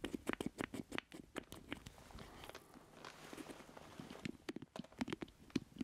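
A black plastic joystick controller with a hollow square base is held close in both hands while fingertips and nails tap and scratch its casing. Quick, dry clicks with a hollow low-mid body come in clusters, broken by a stretch of steady, soft scratching before the tapping picks up again.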